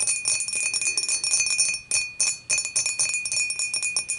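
Long matte nails tap quickly around the sides of an empty, upright, clear dimpled glass beer mug. The result is a fast, uneven run of bright, high clinking taps with short rings, broken by two brief pauses near the middle.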